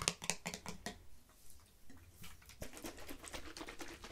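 Long fingernails quickly tap a hollow teal plastic nail polish remover bottle that appears to hold liquid, held in the hands and shaken and turned at times. Crisp, light clicks come in an irregular patter, loudest at the start, then give way to softer tapping and handling sounds.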